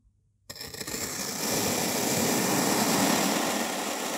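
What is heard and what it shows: After half a second of silence, a hand-held white-bladed knife cuts into a solid, molded, two-tone dark purple and beige kinetic sand block, slicing it into slabs. It makes a grainy, crunching scrape that quickly swells into a steady, bright, gritty hiss, which holds until the end.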